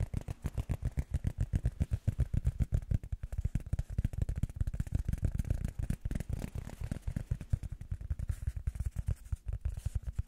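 Rubber foam is tapped rapidly with the fingers as an ASMR tapping trigger. The taps come as a fast, steady stream of soft, dull thuds, almost all low in pitch with no bright edge, and each dies away instantly.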